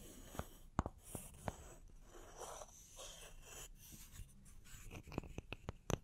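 Long nails scratch the bark rim and cut face of a small, solid, round wooden log slice with a bark edge held in one hand, and two slices are briefly stacked. Quiet, dry scraping and rubbing runs throughout, punctuated by nine short, sharp clicks with no ring.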